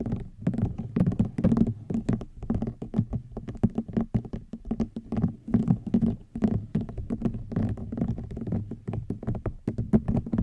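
Fingernails tap and scratch a woven rattan wicker basket in a rapid, uneven patter of dull, short knocks. The sound is low and woody with no bright edge, and each tap dies out almost at once.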